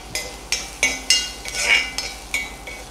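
A steel spatula is struck seven times against a cooking pan, giving bright, high metallic clangs that ring briefly after each hit. This shows the loud "tang tang" noise a steel spatula makes compared with a food-grade silicone one.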